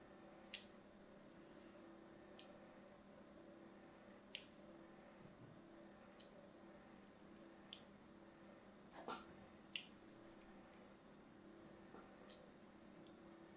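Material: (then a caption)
Soap. A thin metal blade cuts fine lines into a blue and white striped solid bar of soap held in the hand. About nine short, crisp, bright clicks and scrapes stand out at uneven intervals over a quiet, steady low hum, each dying away almost at once.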